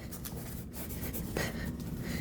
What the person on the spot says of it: Now we have a nice box here that is not gonna have any movement on the inside. You can hear that, when I shake it, there's no sound of any movement.